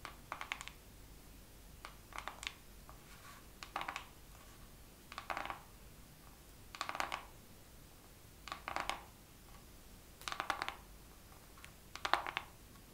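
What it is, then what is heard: Makeup palette. A makeup palette is tapped slowly with long nails in small clusters of quick, light clicks, spaced by short pauses of soft background hiss. Each tap is dry and brief, centered around 800 Hz with a bright, high edge and almost no ring, and the overall level stays quiet.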